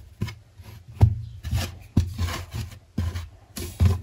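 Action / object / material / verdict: scrape / mound of kinetic sand / kinetic sand / none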